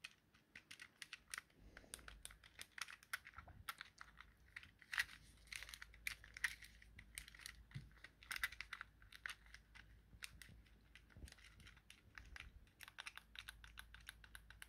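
A thumb taps and clicks the face buttons of a small, hollow, yellow plastic Nintendo Joy-Con controller held in the hand. The result is a quiet, fast, uneven run of short, dry plastic clicks with a bright, clacky edge centered near 1.8 kHz. A faint low hum sits underneath.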